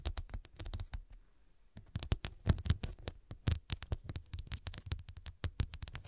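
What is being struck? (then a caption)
Small cushion covered with glass studs. Long acrylic nails tap and scratch rapidly over a small cushion covered with rows of square glass studs, making a fast run of sharp, dry clicks with a bright edge and a low thud beneath. The taps stop briefly near the start, then return in a dense, uneven patter with a few louder strikes.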